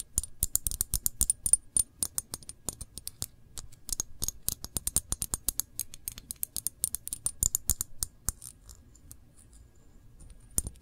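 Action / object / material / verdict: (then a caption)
tap / glass jar of jam / glass / none. Long fingernails tap and scratch on the glass body of a full jar of cranberry jam with a paper label, held tilted. Dozens of quick, dry, bright clicks come in an uneven, rapid flurry, with faint scratching between them. Each tap dies away almost at once, leaving a sparse, fading trickle of clicks near the end.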